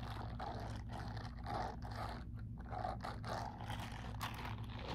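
A soft, hollow, empty grey silicone dish-scrubbing glove with bristle pads is held loosely in one hand while the fingertips crumple and rub its bristled surface. The result is quiet, continuous rubbery scraping and crinkling in uneven bursts, with a mid-range rasp over a steady low hum.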